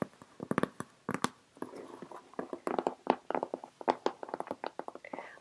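Long red acrylic nails and fingertips tap heavily on the top and sides of a closed, taped, medium cardboard shipping box held on a lap. The taps come in quick, uneven bursts, each a short, hollow, mid-pitched knock with a sharp, bright nail click, and they die away almost at once.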